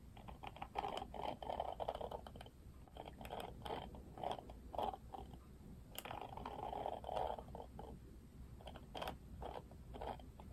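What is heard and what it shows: Fingertips flick and strum the thin plastic bristles of a Barbie Wet Brush, a plastic detangling hairbrush with a plastic frame. Rapid dry clicks and rattling strums come in uneven bursts centered in the midrange, with short, bright ticks over a faint steady low hum.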